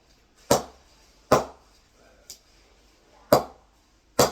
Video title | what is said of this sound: BAS beauties from Only Pro | really really good solid sound on it